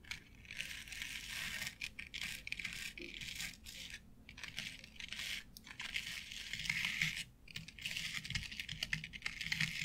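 Long nail tips tap and scratch across a flat board covered with short synthetic turf. The result is a dense, bright, crackling rustle that runs almost continuously, with brief quiet gaps between bursts.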